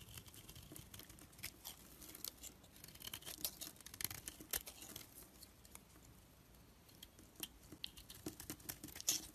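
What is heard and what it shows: A black-handled knife shaves curled flakes off a rounded, rectangular, solid orange soap bar held in the hand. The sound is a quiet, bright, crisp scraping and crackling, with many short ticks that die away almost at once. It swells in small bursts and eases off over the nine seconds.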